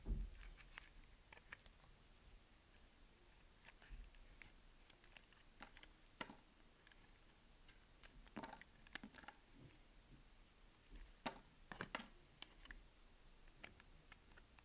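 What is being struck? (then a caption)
Bar of soap shaved with a knife blade. A solid white bar of soap, held in the hand by fingertips with long nails, is shaved and scraped with a utility knife blade. The result is a quiet run of short, dry, crisp scratches and clicks with bright high crackle. Some louder scrapes stand out against a low, soft background.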